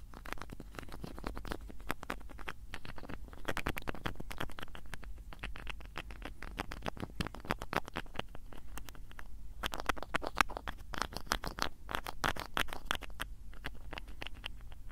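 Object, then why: Small plastic bottle with screw cap. Fingertips repeatedly twist and scratch the small cap of a small blue plastic bottle, making a dense run of quick, dry clicks and scratchy ticks over a low steady rumble. The clicks come in irregular bursts that cluster and thin out across the clip, each dying away almost instantly.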